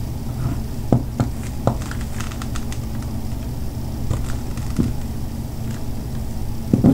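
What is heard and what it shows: A metal butter knife scrapes and cuts a solid white bar of soap held on a table, shaving off flakes while a separate piece of soap lies untouched nearby. Short, soft scratching cuts sound over a steady low hum, with a few sharper knife strokes standing out.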